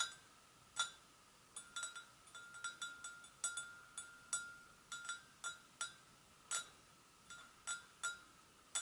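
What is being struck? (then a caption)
Porcelain gravy boat. A porcelain gravy boat is tapped gently with the fingers in a series of irregular, light clinks. Each tap gives a short ceramic ring centred near 1.4 kHz with bright, high overtones that fade quickly against a quiet background.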